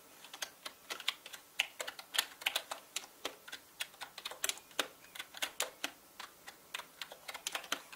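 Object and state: Plastic mechanical keyboard being typed on.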